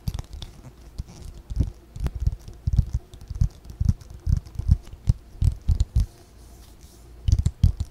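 A white spiral-bound paper notebook, about A5 size, is held in both hands close to the mic while long fingernails tap and scratch its cover. Soft, dull, low thumps and brushing scrapes come in irregular bursts, with faint bright scratchy edges and almost no ring.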